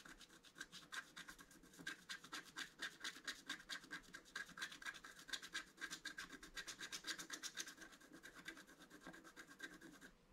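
A wooden stylus scratches quick, repeated strokes across the centre-right motif of a flat black-coated scratch art card, held flat by the left hand. It makes a steady run of short, dry, bright scratching rasps that rise and fall in loudness, with no ring after each stroke.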